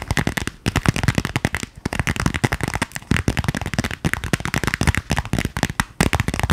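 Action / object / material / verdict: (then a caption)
tap / small metallic vinyl zipper pouch / vinyl / none. A small purple metallic vinyl zipper pouch with a clear window and printed shapes, soft and lightly filled, is held in both hands beside the face and tapped and scratched with long painted nails. It makes a rapid, dense stream of crisp crackling taps and scratches with a low thump beneath them, each one cutting off almost instantly.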